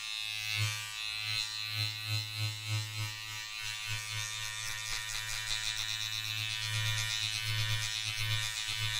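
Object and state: Nothing is struck.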